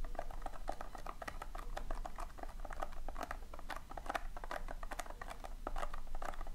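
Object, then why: Loose polystyrene foam beads in a tin. Long painted nails scratch and dig through a round tin of loose, tiny polystyrene foam beads. The result is a steady patter of soft, dry clicks and rustles with a bright, crackling edge. Under it runs a constant low hum.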